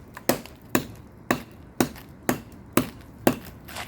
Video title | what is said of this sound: The BEST Way to Remodel Water Damaged Steps and Porch! | you can hear that it's Hollow